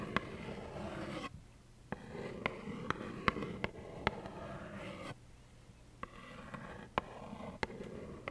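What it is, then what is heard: Cardboard tissue box. Long nails tap and scratch a small, hollow plaid cardboard tissue box with tissues inside. About twelve short, dry taps with a bright click ring out over a steady rough scratching hiss that centers around 1 kHz. The scratching drops away briefly twice in the clip.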